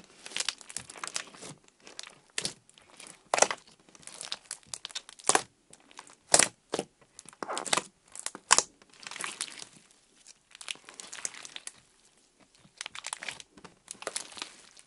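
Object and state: Crinkly clear slime.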